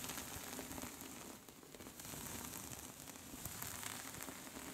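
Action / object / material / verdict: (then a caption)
scrape / knitted yarn scarf / knitted yarn / none. Long pink nails on both hands scratch quickly across a soft pink cable-knit scarf. The result is a steady, quiet, crackly scratching hiss, bright and dense like light rain, with brief sharper flicks standing out through the texture.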